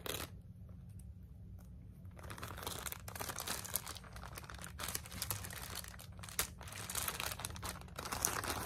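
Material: Plastic.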